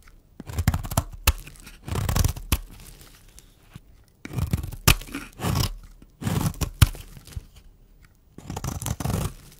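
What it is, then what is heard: Dry bar soap being scraped. A small solid pink oval bar of dry soap is held in the hand and scraped with a metal blade, peeling off thin powdery shavings. Bursts of dry, crunchy tearing and scraping come in repeated strokes with short pauses between them, and sharp clicks of the blade land within the strokes.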